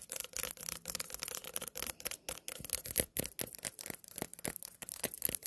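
A small white pumpkin, held and then set on a table, is rubbed and scratched with long nails. Quiet, dry, bright scratching comes in rapid bursts of short strokes with no ringing between them.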